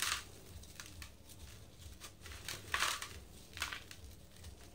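Hands crumble chunks off a dry, cylindrical yellow sand-cement block over loose powder in a blue bucket, letting the powder fall through their fingers. Dry, gritty crunches and bright, hissing trickles come in short bursts over a faint low rumble, with the loudest crumbles near the middle and end.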